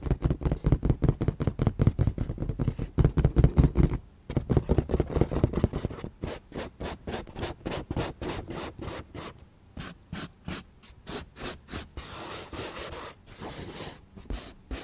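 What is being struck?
Inflated latex balloons.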